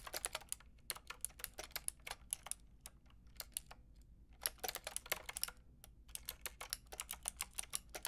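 Fingertips with long red nails tap steadily on a Lofree plastic mechanical keyboard with a plastic frame and round keycaps. The sound is a quiet stream of sharp, bright, clicky keystrokes that die away almost instantly. The typing slows briefly near the middle, then resumes at a steady, even pace.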